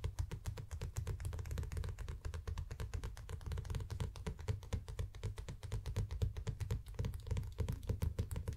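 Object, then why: Paperback book with glossy paper cover. Fingertips of both hands tap rapidly and repeatedly on the glossy paper cover of a small, solid paperback manga, Koe no Katachi volume 5, with a glossy dust jacket, lying flat on a play mat. The taps come as a quick, uneven patter of soft, dull thuds with most of their weight low, around 105 Hz, and each dies away almost at once with little brightness.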